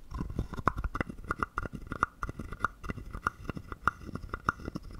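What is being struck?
Carved wooden frog guiro.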